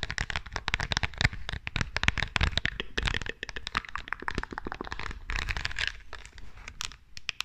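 Long nails scratch and tap the studded surface and edges of a small rhinestone-covered perfume bottle with a metal frame and a label on its side, held in both hands near the microphone. The result is a dense, rapid stream of dry, crackling clicks and scratchy rasps with a bright edge and a soft low thump beneath, each tick dying away almost instantly.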